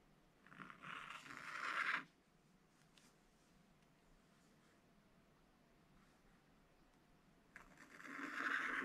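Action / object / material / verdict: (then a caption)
scrape / black-coated scratch paper scratched with a wooden stylus / coated paper / none. A wooden stylus scratches the black coating off a thin rainbow scratch-paper page in an open spiral scratch book, drawing a chick's round head outline in continuous strokes. Two bursts of dry, raspy scraping centered in the mid-range around 1.6 kHz are separated by a long quiet pause, with the second stroke building louder toward the end.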